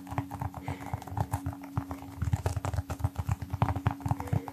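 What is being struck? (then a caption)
Small rubber toy football. A small brown textured rubber toy football, likely hollow, is held in one hand and tapped rapidly with the fingertips of the other hand close to the mic. A quick, uneven run of soft, dull, low thumps sounds like clip-clopping hooves, each tap dying away almost at once.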